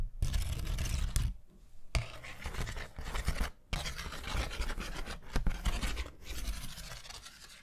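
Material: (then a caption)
Paper. Long nails scratch across a thin, flat, round pastel paper hand fan with a bamboo handle, making dense, rough scratching with a heavy low rumble and a papery hiss. The scratching comes in sustained bursts separated by brief pauses, with a few sharp ticks standing out.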